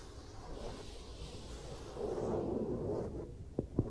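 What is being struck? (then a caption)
Vinyl mannequin head. Fingertips and long nails rub and lightly scratch the face and cheek of a smooth vinyl or rubber mannequin head with ear plug holes. A soft, low, continuous rubbing swells slightly in the middle, then two short, sharp scratches stand out at the end.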